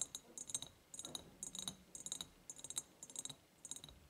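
Long painted nails tap on an empty, medium-sized, ribbed clear glass jar, first held tilted and then standing upright. The taps come in quick, uneven bursts of bright, glassy clicks with very short ring and a high, thin tone, separated by brief quiet gaps.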